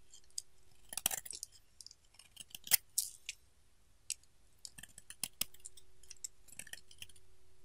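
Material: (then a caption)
Soap. A solid pink bar of soap held in hand is scraped and carved with a utility knife blade, and flakes drop onto a pile of shavings. Irregular, crisp, bright scraping clicks and crackles come in clusters over a quiet background with a faint steady hum.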